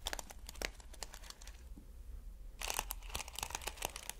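Fingertips rub and scratch across taut, stretched plastic flip-sequin fabric, giving bright, crinkly scratching bursts over a steady low hum. The scratching eases into a quieter stretch in the middle, then returns denser and louder for the rest of the clip.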